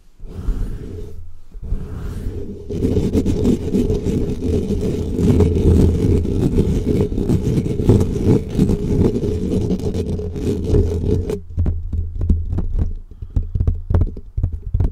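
Fingertips of both hands rapidly scratch and tap on a black foam microphone cover. The result is a dense, muffled, low rumbling scrape concentrated in the bass, broken by short pauses early on. Toward the end it turns into quicker, more separated soft thumps.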